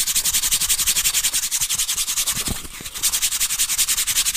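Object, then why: Corrugated cardboard disc. Fingertips and nails rub and scratch the corrugated edge of a brown corrugated cardboard disc held flat and edge-on near the mic. A steady run of quick, bright, hissing scrapes repeats at about two to three strokes per second, briefly softening and thinning out near the middle before resuming. The sound is almost entirely high-pitched and papery, with little low end.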